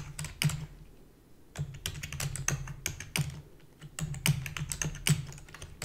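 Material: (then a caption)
Plastic. Fingertips with long natural nails rapidly type on a black full-size plastic computer keyboard with hollow key housing. The keys give quick, sharp clacks with bright clicky tops and a hollow low thud, in bursts with a brief lull near the start. Each keystroke dies away almost instantly.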